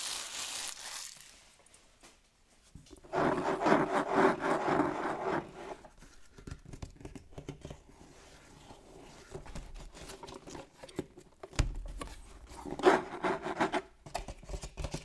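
A sealed, hollow, medium-sized printed cardboard Elite Trainer Box rests on a wooden table while fingertips rub and scratch its top. Dry, papery scraping comes in bursts, densest early on, then softer scratches and light taps follow. The box is flipped over near the end.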